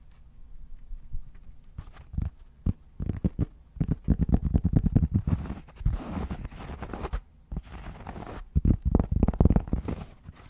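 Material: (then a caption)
Cork. Fingertips scratch the face of a round, solid cork trivet, then tap its edge while it is held upright. The result is a soft, low, rumbling scrape with bursts of dull, muffled taps that die away almost instantly, with little brightness.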